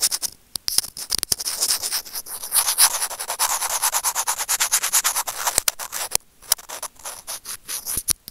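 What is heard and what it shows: Curved steel tweezer tips scrape and rub the casing of a small hollow white plastic earphone microphone remote. The result is a dense, bright, scratchy rustle of rapid short strokes with almost no low end and a brief pause near the six-second mark. Sharper clicks stand out from the stream of rubbing.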